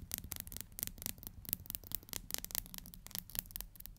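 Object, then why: Plastic hair comb. Long nails strum and rub along the teeth of a black plastic hair comb, making a quiet, rapid series of dry, bright scratching strokes. Each stroke cuts off almost instantly with no ring, over a faint low rumble.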